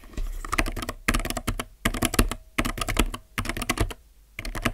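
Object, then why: Mechanical keyboard with plastic keycaps. Fingertips tap single keys near the Enter key on a low-profile mechanical keyboard with plastic keycaps, in five short bursts separated by brief pauses. Each keystroke is a quick, crisp clack with a low thud and bright click that dies away almost instantly.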